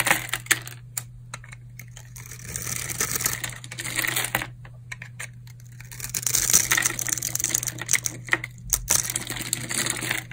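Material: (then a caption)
Soap. A solid white bar of hard, dried soap is held in the hand while a metal blade cuts small cubes into its surface and scrapes them off. Quick, crisp, crunchy cuts and scrapes come in dense bright bursts over a steady low hum. The crunching builds and fades in uneven clusters throughout.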